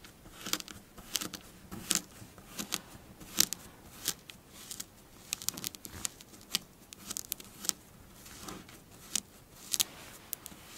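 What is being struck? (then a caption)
Kinetic sand mound. A magenta kinetic sand mound on a dark glossy table is raked, scratched and pinched by long blue nails using both hands. Crisp, bright, crunchy crackles and short clicking ticks repeat irregularly over a quiet hiss, with little low-end.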